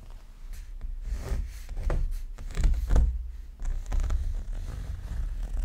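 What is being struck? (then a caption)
Paper art print. A thin, roughly letter-size sheet of paper or cardstock printed with a dreamcatcher design is held up in one hand while fingernails scratch and rub across its surface. Dry, papery scratching strokes rise and fall in bursts, with a deep low rumble underneath throughout.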